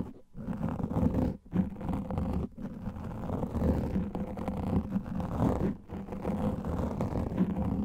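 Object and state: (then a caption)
Foam microphone windscreen being scratched. Both hands' fingernails scratch fast over a large black foam microphone windscreen, making a dense, low, rumbling scratch. The muffled, bassy rasp runs almost continuously with only a few brief drops in level and carries no bright high end.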